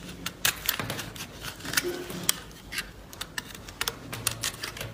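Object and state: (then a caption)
Green bar soap. An oval green bar of solid soap, held in the palm, is scraped and carved with a small blade by a hand wearing fabric finger guards, and the flakes fall onto a wooden table. A quick series of crisp, bright, clicky scrapes and cuts sounds close up, each one very short and dry over a faint low hum.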